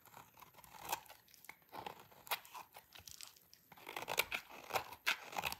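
A hand-sized, solid salmon-pink bar of dry soap is held in the hands and scraped with a utility knife blade, making crunchy shavings. A series of short, dry, crunchy scrapes and crackles comes in quick bursts, bright and crisp with almost no low end, with quiet gaps between strokes.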